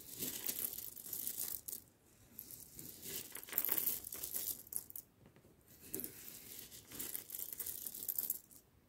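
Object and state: Roasted coffee beans.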